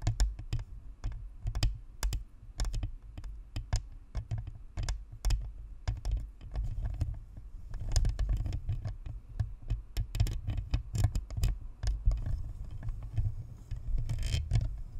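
Long nails scratch and tap the sides of a white, hollow plastic spherical Blue Snowball USB microphone and the edge of its metal grille and badge. A rapid, uneven stream of short taps and clicks sounds deep and boomy through the shell, with thin, bright clicking on top. Brief scratchy hiss rises between the taps.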